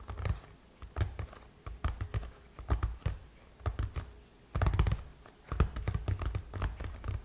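Long chrome-painted nails tap and scratch on the closed lid of a silver aluminum MacBook, a solid thin metal shell over a hollow body. The hollow body gives quick, dull, low-heavy clicks and thunks with almost no ring, in irregular bursts. Denser scratchy stretches of tapping fill the second half.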